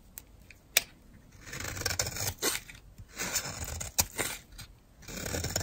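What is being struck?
Bar of soap scraped with a metal blade.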